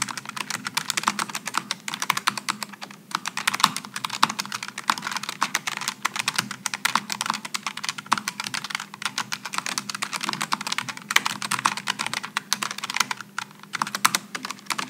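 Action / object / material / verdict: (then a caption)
tap / aluminum and plastic low-profile mechanical keyboard / plastic / none. Continuous two-handed fingertip typing on a Logitech G915 low-profile mechanical keyboard with aluminum and plastic keycaps gives a steady stream of short, bright key-switch taps. Each click is crisp and dies away almost instantly, with a faint low hum underneath.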